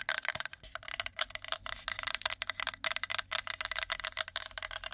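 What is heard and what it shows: Long nails rapidly tap and scratch the flat face of a shaped, flat, solid, light wooden plate held beside and in front of the microphone. About two dozen sharp, dry clicks come in quick bursts with scratchy rasps between them, bright and crisp with almost no low end and no ring.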